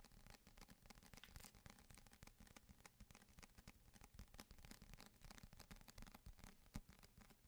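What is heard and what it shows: A thick paperback copy of the novel *Renegades* with a glossy paper cover, held in both hands, is tapped and scratched on the cover with fingertips and short nails. The result is a quiet, continuous stream of soft, dull taps and dry scratching with no ring.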